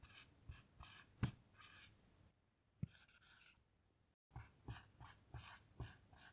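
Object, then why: Dry-erase marker on a melamine whiteboard. A blue dry-erase marker writes lines of text on a small melamine lap whiteboard lying flat, making quiet, scratchy bursts of squeaky strokes with sharp taps where the tip touches down. The strokes pause in the middle, drop out to near silence for a moment, then resume in quick, short bursts.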